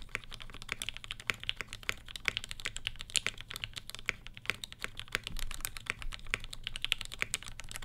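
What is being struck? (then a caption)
Mechanical keyboard with ABS plastic keycaps. Steady two-handed fingertip typing on a black Satisfaction 75 R1 mechanical keyboard with Gateron Ink switches with Tangie tops, an FR4 plate and ABS plastic keycaps. Rapid, dense, bright clacks with very short decay sit over a soft low thump, keeping an even rhythm throughout.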